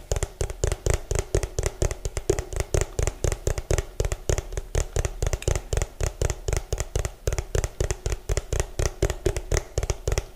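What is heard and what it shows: Fingernails tap fast and hard on the ridged bottom of an orange, hollow plastic food container. The result is dozens of quick, uneven, dry clicks with a low hollow knock around 400 Hz and a bright tick on top, each dying away almost instantly.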